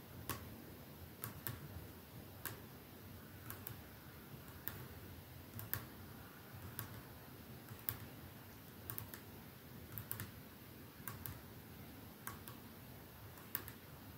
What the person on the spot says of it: Slow tapping on a perfume bottle